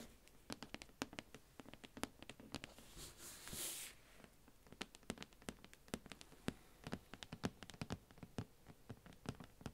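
A shrink-wrapped, plastic-covered cardboard advent calendar box is held close up while long nails tap and scratch its top and sides. Quick, crisp clicky taps patter throughout the clip. Around the middle, a brief hissy scrape of nails drags across the plastic wrap.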